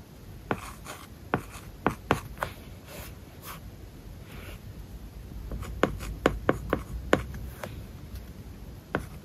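A stylus held in the fingertips writes words on an iPad covered with a matte, paper-like plastic film. Soft, scratchy strokes rub across the surface under a low hiss, broken by about a dozen short, sharp taps as the tip meets the film. The taps are clustered near the start and again in the second half of the clip.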